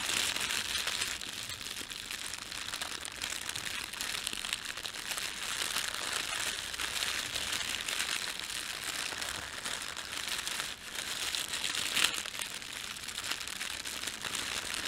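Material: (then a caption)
Plastic film. Fingertips of both hands press and rub across a thin, red, printed plastic bread bag lying flat, making a steady, bright crinkling throughout. The sound is mostly high-pitched, with almost no low end. It eases briefly near 11 seconds, then a sharper crackle stands out at about 12 seconds.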